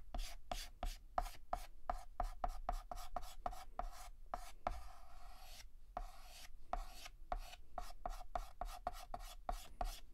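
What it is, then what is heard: Chalk scratching on a chalkboard. Fingertips hold a stick of yellow chalk and shade a petal on a flat, solid black chalkboard with rapid, short back-and-forth scratches. Each stroke gives a dry, gritty scrape with a mid-pitched tone near 715 Hz. Around the middle, the strokes blur into a longer, smoother rub before the quick scratching picks up again.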